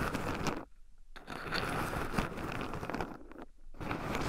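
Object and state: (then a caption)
Shelled pine nuts stirred in a wooden bowl. Two wooden chopsticks stir and poke through a small wooden bowl heaped with raw shelled pine nuts, with two black microphones buried in the pile so the nuts also rub against them. Dense, close crunching and crinkling scrapes fill the clip, broken by two short near-silent pauses.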